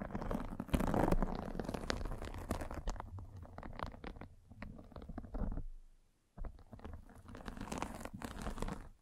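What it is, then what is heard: Fabric mesh net cover scraped by a spiked roller. A metal-spiked derma roller is rolled across the top of a fine white fabric mesh net stretched over a microphone. It makes a dense, scratchy crunch with a heavy low rumble. The sound drops to near silence for a moment before the rolling resumes.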